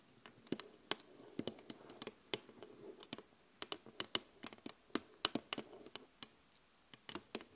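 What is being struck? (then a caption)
Flat glass mirror. Both hands tap quickly on a large, flat glass vanity mirror with an LED frame, using long acrylic nails and fingertips. About 21 quiet, sharp, bright clicks come in an uneven rhythm over a faint scratchy patter, each one dying away instantly with no ring.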